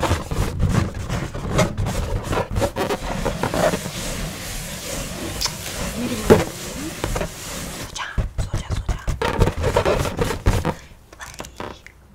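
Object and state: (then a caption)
Latex balloon being scratched. Fingertips in a white latex glove rub and scratch a large inflated yellow latex balloon, hollow and air-filled, held close to the microphone. The result is a dense run of low, rubbery squeaks and scratchy friction bursts, with faint speech in the background. Near the end the hand lifts off the balloon and the sound fades to quiet.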